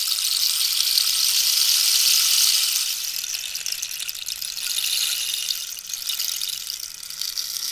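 A hollow cactus wood rainstick with a red-yellow-green band at one end is tilted so its inner pellets cascade while long nails tap its surface. The result is a steady, bright, high hiss of trickling pellets, loudest over the first three seconds, then softer with gentle swells and dips and faint clicks over the rush.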